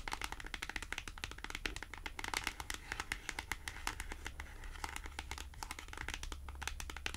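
Long acrylic nails rapidly tap and scratch a small, thin, flat white printed cardboard price tag held in both hands, making a dense run of quick, crisp, bright clicks with light papery scratching between them. The taps are short and dry, fading almost at once, over a steady low hum.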